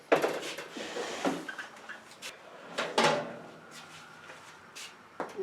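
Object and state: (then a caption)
Bread loaf that sounds hollow but is underbaked. A no-knead sourdough loaf in a loaf pan set inside a pan of water, taken from a 450-degree oven after 25 minutes, is tapped, giving a series of short, dull, hollow-sounding knocks with little ring. Despite the hollow sound, the loaf is underbaked at only 160°F, short of the 180°F target, so it goes back in for another five minutes.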